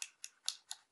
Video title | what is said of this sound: presentation cyma cm030 | lui est vraiment en plastique mais totalement plastique